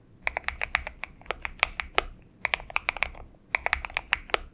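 Fingertips of both hands type continuously on a purple-backlit Xinmeng M71 70% mechanical keyboard with an aluminum case and PBT keycaps, resting on a desk mat. About 24 crisp, bright keystrokes, each centered near 2.3 kHz and dying away almost instantly, come in three quick bursts separated by brief pauses.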